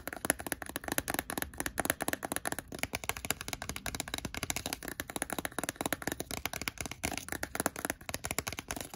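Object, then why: Plastic handheld game console. Fingertips and nails tap and rub the plastic screen and casing of a blue Nintendo DSi XL handheld console held open in the hand. A rapid, steady stream of short, dry plastic clicks and taps mixes with soft rubbing, bright and crisp with almost no ring.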